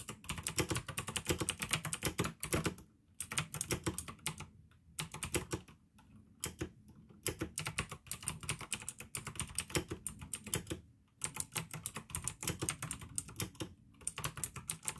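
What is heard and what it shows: Fingertips type on a pink AUKEY plastic mechanical gaming keyboard with blue switches. Dense bursts of bright, clicky keystrokes over a low thock run in flurries, with brief quiet pauses near 3, 5, 6, 11 and 14 seconds. Each click ends quickly.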